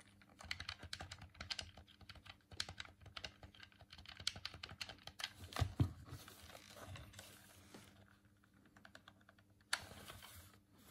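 A hollow white plastic Dreamcast controller is held in both hands while the thumbs click its face buttons and tap its shell. The result is a rapid, uneven stream of light, dry plastic clicks and taps with a low, hollow thump beneath them and bright edges that die away almost instantly. A couple of louder knocks land near the middle, and one sharp tap comes near the end.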